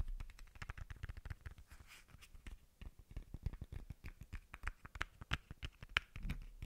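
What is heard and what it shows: A small hollow white plastic bottle cap is held close to the microphone and tapped and rubbed with fingertips and short nails. The result is a quiet, irregular run of quick, dry clicks with a soft low thump under each and brief bright scratchy rubbing between them, with no ring after each tap.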